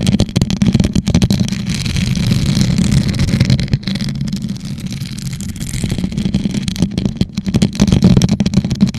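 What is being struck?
Rhinestone-covered plastic tumbler.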